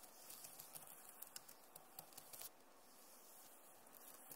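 Long nails tap and scratch across the plastic keys of a backlit Acer laptop keyboard, giving quiet, bright clicks and scratchy rasps over a soft hiss. A brief busier stretch of scraping fills the first half before it settles into sparser taps.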